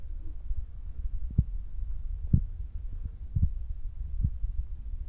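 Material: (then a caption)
Foam. Fingertips of both hands rapidly tap on top of a soft, spongy black foam windscreen fitted on a Zoom recorder. The result is a steady stream of deep, muffled thumps, almost entirely low in pitch with no brightness, resembling a throbbing heartbeat over a constant low rumble. A few taps land harder and stand out from the rest.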